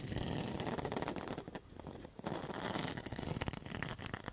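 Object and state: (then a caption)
Rattan coaster rim scratched. A round rattan and mosaic coaster is held up while its rattan rim is scratched with long metal nail tips. Dense, dry rasping and crackly scraping runs throughout, briefly softening near the middle before picking up again.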